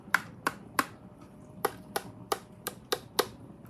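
Nine quick, dry taps on the plastic screen of a knockoff handheld game console, each a sharp, bright click with almost no ring. The plastic screen stands in for the glass one on the original Pop Station.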